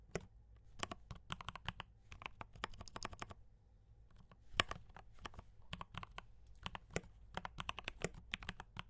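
Fingertips type continuously on a compact D84 mechanical keyboard with brown switches and cream and red plastic keycaps. The keys give rapid, dry clacks, each with a low thock and a bright click, and the rhythm is irregular. There is a brief lull partway through, then one noticeably louder strike before the steady typing resumes.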